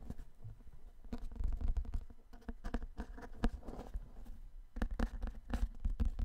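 A large, dark, solid hardcover book with cardboard-and-paper covers is held upright in both hands close to the mic while fingertips and nails tap and scratch its cover and spine. The result is a quiet, dense patter of short, dry taps and scratchy rubs, weighted toward low, muffled thuds with bursts of brighter scratching and almost no ring.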